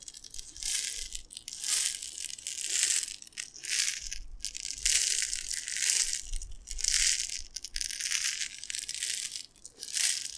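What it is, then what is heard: Glass jar of dry tapioca pearls. A clear glass jar with a gold metal screw lid, mostly full of dry white tapioca pearls, is held in both hands and tilted and shaken so the pearls slide and rattle inside. Bright, hissy waves of granular rattling and sliding swell and fade in loose, uneven pulses, with little low end.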